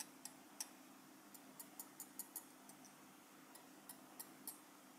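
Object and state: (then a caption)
Enamel metal lapel pin. A small solid metal enamel lapel pin, held in fingers, is tapped on its back and enamel front with the tip of a steel cheese knife. About a dozen quiet, bright, high ticks sound at an uneven pace, each dying away almost at once, over a faint steady low hum.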